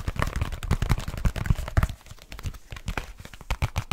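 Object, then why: Leather case. A black leather case is flexed in the hands while fingertips and nails tap and scratch it quickly. The fast, dry, low thumping taps mix with rustling scratches and creaks of leather. The tapping is loud and dense at first, drops quieter around the middle, then picks up again with sharper taps near the end.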